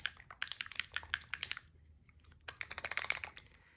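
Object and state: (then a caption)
Paint bottle with a freely rattling mixing ball. A bottle of metallic wax paint is shaken until the free-moving mixing ball inside rattles, then shaken a bit more so the ingredients are mixed. Quick, bright clicks and rattles come in two bursts, separated by a short pause.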